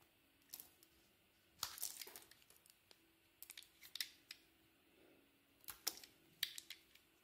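A solid white bar of soap with a red and pink coating, held in the hand, is carved and scraped with a utility knife blade. Quiet, bright, crisp scraping and cutting sounds come in irregular short bursts with very little ring, over a faint steady hum.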